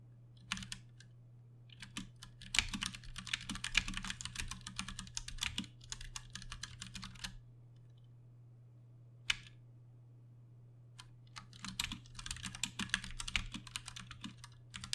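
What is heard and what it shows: A Ducky One 2 Mini compact 60% mechanical keyboard with plastic keycaps, Cherry MX Brown switches and RGB backlighting sits on a desk while both hands tap the keys with their fingertips. Dense runs of bright, sharp clacks fill the first seven seconds, followed by a pause broken by a single click, then a second run of typing. A steady low hum runs underneath throughout.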